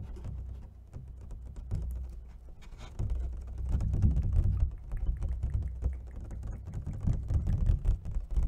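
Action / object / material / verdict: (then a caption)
tap / clear plastic clamshell food container / plastic / none. An empty, hollow clear plastic takeout clamshell food container, about hand-span size with ridged edges, is held in both hands and tapped quickly with long fingernails and fingertips on the lid and ridged sides. The result is a dense, irregular patter of fast taps and clicks over a deep, hollow low thump, with each tap dying away almost instantly. The tapping swells louder in bursts in the middle and near the end.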